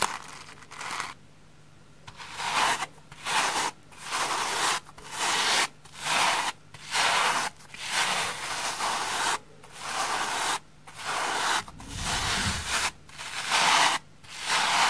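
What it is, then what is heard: Cellulose sponge being brushed. A pink brush with white bristles is rubbed in strokes over the surface of a large, green, porous cellulose sponge that is solid and flat and held on a wooden table. About ten rough, bright, scratchy swishing strokes are heard, roughly one per second at an uneven pace. Short quiet gaps separate the strokes.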